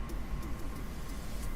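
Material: Nothing is struck.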